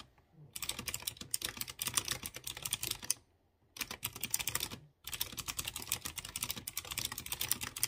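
Fingertips type steadily on a light blue plastic mechanical keyboard with round chrome keycaps over clear-housed blue switches. Rapid, bright, clicky key taps come in three bursts, with brief pauses near the middle.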